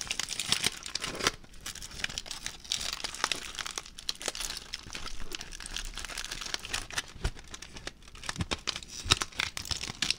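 A ball of crumpled aluminium foil is unfolded and crinkled by hand, giving a steady run of dense, bright crackling and crinkling for about ten seconds. Sharp, dry snaps rise above the rustle throughout and die away almost instantly.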